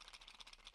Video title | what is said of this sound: UNBOXING/REVIEW Kids Toy Salad Set Melissa & Doug | when I shake them there sounds like there's something in there